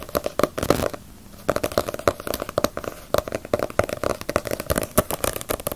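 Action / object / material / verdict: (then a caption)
tap / paperback book with glossy paper cover / paper / none. Long nails tap rapidly on the glossy front cover of a small, solid Bleach paperback manga volume. The result is a dense run of crisp, dry clicks with a hollow tone around 570 Hz and almost no ring. The tapping pauses briefly near the one-second mark, then resumes.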